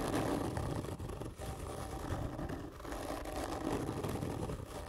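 Long fingernails on both hands scratch slowly and hard across a large, hollow black printed cardboard whisky gift tube lying on its side on a table. The result is a continuous rough, low, hollow rasping scrape with a woody resonance, easing briefly between strokes before building again.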